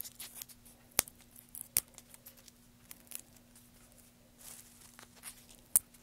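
Fingertips pinch, crinkle and pick apart a pile of thin, curly wood shavings resting on a black surface. Quiet, bright, dry crackling and rustling comes in irregular bursts, with three sharper snaps standing out, over a faint steady low hum.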